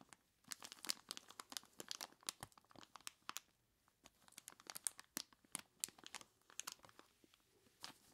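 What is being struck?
Plastic bag filled with ice cubes.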